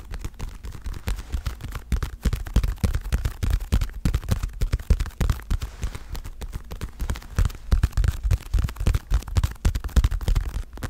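Fingertips and long nails tap rapidly on the surface of a dark blue padded leather boxing glove. The taps come fast and irregular, each one a short, dull, low thump with almost no ring, continuing steadily throughout the clip.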